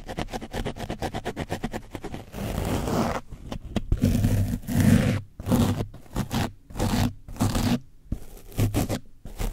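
A foam brush is scratched across an orange foam microphone windscreen coated in dried paint, with a hand held close by. Quick, rapid scratching strokes give way to longer, rougher scrapes and then separate bursts. The sound is dense, muffled and heavy in the low end.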